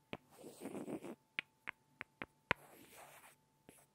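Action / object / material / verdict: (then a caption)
tap / small solid wooden blocks / wood / none. Two small, solid light-wood blocks are tapped and rubbed together by hand, quietly and up close. Seven sharp, dry, bright clicks with no ring are separated by two stretches of soft, grainy scraping. A faint steady tone hums underneath throughout.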